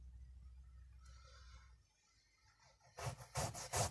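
A tiny bristle brush on a wire handle, held in fingers, scrubs a small, flat, patterned woven fabric carpet, brown with black circles, lying on a white surface covered in soap foam. Soft, low rubbing fades into a quiet pause, then three loud, bright, bristly scrubbing strokes follow.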